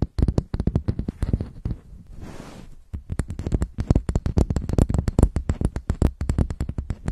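A round, flat, hand-sized makeup compact with a brown textured top and gold-colored rim is held over a microphone while long white nails scratch and tap its lid. Quick, dull, low-heavy taps patter irregularly, broken around the middle by a brief soft scratching before the tapping resumes.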